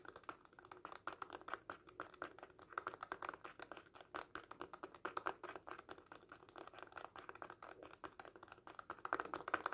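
Fingertips tap rapidly on the surface of a small red faux leather cat coin purse held in both hands. Quiet, dry, clicky taps run continuously with almost no ring, sitting mostly in the midrange around 1.2 kHz with very little bass or high treble. The tapping picks up in force near the end.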